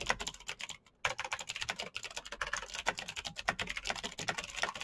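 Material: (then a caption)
Plastic. Fingertips of both hands type fast on the keycaps of a black plastic full-size Razer BlackWidow mechanical keyboard with clicky green switches, RGB backlight and a hollow case, resting on a desk mat. A dense run of sharp, bright clicks sounds, each dying away almost instantly, with little low-end weight. The typing stops for a brief pause just before the one-second mark, then carries on steadily to the end.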